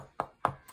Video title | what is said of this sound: Top 10 best card grading companies and why! | even shaking it you don't hear that card moving around